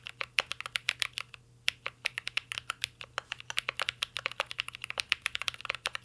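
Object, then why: Mechanical keyboard with metal case and plastic keycaps. A full-size mint-green Cyberboard R3 mechanical keyboard with a metal case, plastic keycaps and Holy Panda switches rests on a desk as two hands type steadily with their fingertips. The result is a dense run of short, bright clicks and clacks centered around 2.6 kHz, with a brief pause near the start before typing resumes.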